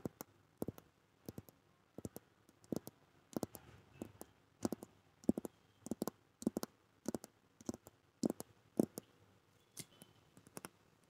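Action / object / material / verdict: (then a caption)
tap / hard-covered notebook with coated board cover / coated board / none. Long manicured nails tap and scratch a medium, flat blue hardcover notebook held upright beside a microphone. It makes quiet, dry clicks in quick bursts and clusters, with a low-mid hollow body and thin bright tips that die away almost instantly. Faint scratching fills the gaps between taps.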